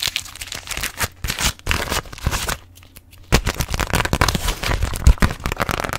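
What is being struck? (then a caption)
Beeswax-coated fabric food wrap. A folded grey hexagon-patterned beeswax-coated fabric food wrap is gripped, crinkled and scratch-tapped with long nails. Dense, crackly crinkling mixes with quick sharp taps, dips into a near-quiet pause around the middle, then resumes louder with fast, sharp scratching and tapping.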